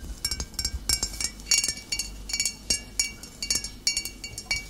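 Long nails tap the shoulder and body of a full glass bottle of cider vinegar standing upright. The result is an irregular series of bright, high clinks, each ringing briefly.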